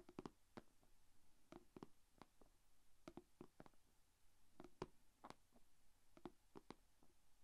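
Long painted fingernails tap on the closed lid of a small, shallow, rectangular clear plastic food container holding glitter slime. The result is a quiet, irregular series of short, dry clicks with a hollow low-mid body around 370 Hz, each dying away almost instantly.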